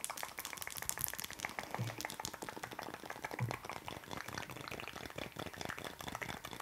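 A solid wax pillar candle is held up and tapped quickly with long acrylic nails. It makes a dense, rapid stream of short, dry clicks that quickly blur together into a steady, fizzing patter.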